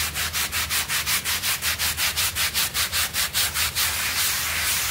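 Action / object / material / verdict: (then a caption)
scrape / synthetic pile carpet scrubbed with a bristle brush / synthetic fibre / none. A bristle hand brush scrubs back and forth over a small, wet, foamy blue synthetic pile rug on a floor, while the other hand holds the rug. Rapid, steady strokes make bright, hissing swishes that blur into a continuous scrub near the end.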